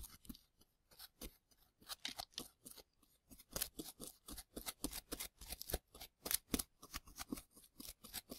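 A gloved hand sweeps plaster dust off a dusty plaster block surrounding plastic ribs with a small bristle brush. Dozens of quick, quiet, bright scratchy swishes follow in a steady, uneven rhythm, each dying away almost instantly.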